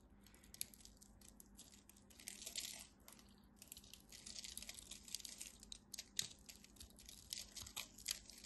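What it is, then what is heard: Dry bar soap being cut. A craft knife cuts and crumbles the corner of a solid, dry, red-and-white striped bar soap held in the fingers into small cubes with a crunchy scraping action. Quiet, bright, dry crackles and crisp crunches come in quick irregular bursts over a faint steady low hum, each snap dying away almost instantly.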